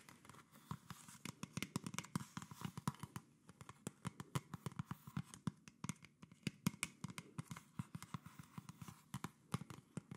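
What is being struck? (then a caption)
Thin plastic drink bottle. A small, empty-looking, hollow PET plastic Coca-Cola bottle with a red label and red cap is held in one hand while the fingertips and nails of the other hand tap and scratch along its ribbed plastic. The result is a rapid, uneven stream of short, dry taps with a low hollow body and bright clicky edges, each dying away almost at once over a faint scratchy hiss.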